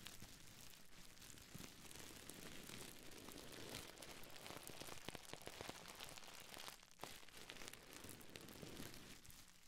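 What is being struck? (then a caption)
Plastic bubble wrap. A small folded piece of clear plastic bubble wrap is held in both hands next to the microphone while fingers and nails crinkle, squeeze and scratch it. The result is a steady, dense crackle of soft crinkling with sharp ticks and brief bright scratches scattered throughout, briefly dipping quieter near the end.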